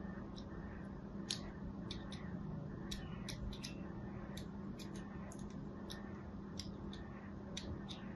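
A thin metal needle, held by fingers with pink nails, scratches and scores lines into a small, solid, white embossed bar of soap held upright in one hand. Short, bright, scratchy clicks repeat at irregular intervals over a steady low hum.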